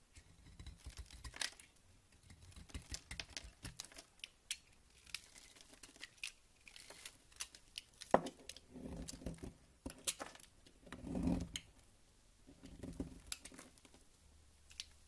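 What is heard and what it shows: A solid white bar of soap, held in the hand, is carved with a green utility knife, shedding crumbly shavings. Quiet, dry scraping and crisp little cuts come in uneven bursts, with brief bright crackles as the shavings break away.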